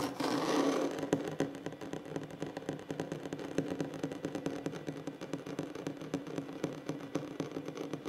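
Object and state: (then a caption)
Solid wooden tabletop. Short nails of both hands tap and scratch rapidly on a flat, solid wooden tabletop. The result is a fast, uneven patter of dry, short clicks over a steady scratchy rasp, centred low-mid around 280 Hz. It opens with a brief brighter burst of scratching.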